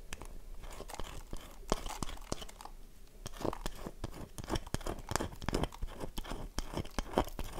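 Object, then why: Bar of soap scratched with fingernails. A solid, dry, oval bar of soap is held in one hand while the long nails of the other hand scratch its face, and flakes fall off. Many quick, dry crunching and scraping strokes come in irregular bursts, each dying away almost at once. The sound is mostly low and soft, with occasional bright crackle.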